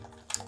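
A heavy POP MART cardboard blind box holding a vinyl figure is shaken; the figure stays still while the card or loose desiccant pack inside shifts. Two quick, bright, high-pitched rustles follow a quiet start. The box is judged full, and it held a flocked figure.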